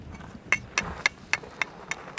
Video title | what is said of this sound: Southern Italy and Sicily - Genuine Travel Guide - Footloose in Italy 5 | it sounds like metal yeah this is the metal yeah it's the same